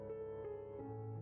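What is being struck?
Nothing is struck.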